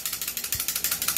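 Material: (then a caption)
Metal. The metal outer barrel of a new, unmodified stock Hi-Capa airsoft pistol rattles forward and back as the pistol is shaken, because the barrel is loose in this stock unit. About eight quick, bright clicks land in a rapid, even rhythm, each decaying almost instantly, with the sound concentrated in the high range and almost no low end.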